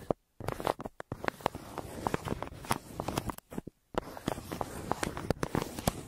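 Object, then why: Crumpled kraft paper mailer. A hand draws strokes with a yellow wooden pencil across a flat, crumpled brown kraft paper mailer. Dry, soft scratching and crinkling comes in quick, uneven bursts of sharp ticks, with two brief pauses near the start and middle.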